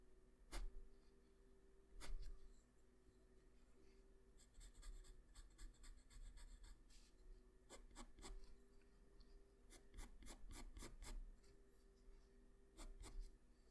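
A graphite pencil rubs and scratches repeated strokes across a flat sheet of white drawing paper, working near the shoulder of the drawing. Soft, dry scratching comes in short bursts and longer runs, with a few sharper ticks, over a faint steady low hum.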